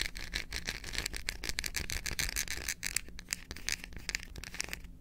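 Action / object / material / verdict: tap / dark chocolate bar / chocolate / none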